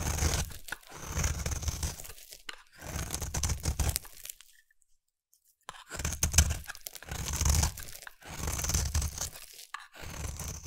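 A utility knife blade scrapes a solid round bar of soap, a blue layer over a white layer, into fluffy shavings. Repeated crunchy, tearing scraping strokes carry a low rumble under a bright hiss, with a brief silent pause midway before the scraping resumes.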